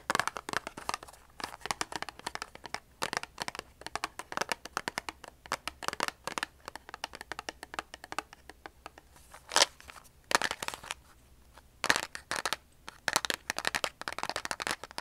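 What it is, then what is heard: Cardboard matchbox. A large, hollow cardboard matchbox, likely full of wooden matches, is held in the hands and turned while being tapped and scratched with long polished nails. Quick, dry clicks and scratchy, bright rasps come in dense, irregular runs, with a few longer louder scrapes and brief pauses between. Each sound dies away almost instantly.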